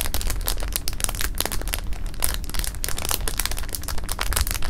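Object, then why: Plastic bag of jelly beans. Both hands squeeze and move jelly beans inside a clear plastic bag resting on fabric, making a continuous, irregular crinkling of the film with dense, rapid bright crackles. Beneath it sits a steady low rumble, and each crinkle dies away quickly.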